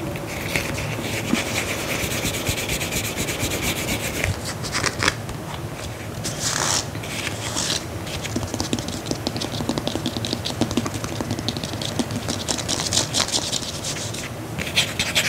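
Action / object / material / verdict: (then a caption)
scrape / faux leather block-heel sandal / faux leather / none. A tan faux leather block-heel sandal is held close to a microphone while fingernails scratch and rub its straps and heel. The result is a steady, dense texture of rapid dry scratching strokes with bright, hissy bursts. Some passes turn briefly louder and rougher before settling back into soft rubbing.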